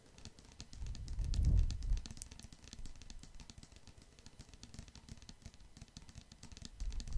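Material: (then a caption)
Plastic. Fingertips and nails tap rapidly on a medium-size clear plastic pump bottle full of red liquid soap, making quick, uneven, short plastic clicks. A low, muffled thud swells and fades early in the clip. The soft tapping continues over a low rumble to the end.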